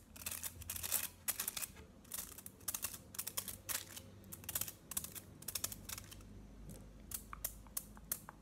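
Fingernails tap quickly along the top and edges of a solid, foil-wrapped chocolate bar held flat. The result is a run of sharp, crinkly clicks with a bright, papery edge. They come in irregular bursts over a low background hum.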